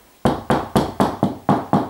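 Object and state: Solid plasterboard ceiling over a joist.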